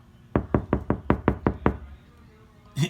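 Eight knocks in the same spot on a steel car passenger door fitted with a KilMat sound-deadening mat inside. The knocks are dull, low thuds that die away almost instantly with no ring. A brief brighter sound follows at the end; the door sounds solid.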